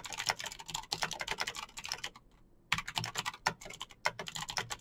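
Fingertips type fast on a backlit Razer BlackWidow plastic mechanical keyboard with clicky green switches, producing a dense stream of bright, sharp clicks. A brief pause near the middle breaks the flurry of taps before the rapid typing resumes.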